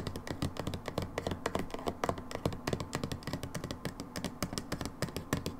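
Long nails tap rapidly and unevenly on the label and plastic of a brown, hollow plastic hydrogen peroxide bottle, likely filled with liquid and lying on its side. Each tap is a short, dry click with a dull low thud beneath it and a faint bright tick on top. The taps die away almost instantly with no ring.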